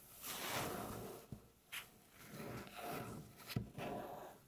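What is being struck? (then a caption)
Wooden tabletop tapped with fingernails. Long natural fingernail tips slowly scratch and tap on a solid, light-colored flat wooden tabletop. Soft, breathy scratching swells rise and fade, and four sharp, brief taps cut through with little ring.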